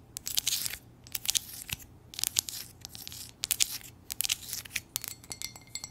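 Long nails tap and scratch the glazed surface of an empty, hollow white ceramic coffee mug printed with lips and lettering while it is turned in the hands. Quick, bright clicks mix with scratchy, hissing bursts of high sound, each dying away almost at once with almost no low end.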